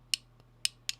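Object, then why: Toy lightsaber hilt tapped with a ring. A ring taps three times against a metal toy lightsaber hilt. Each tap is a sharp, bright metallic click that dies away almost instantly, with a faint hum underneath.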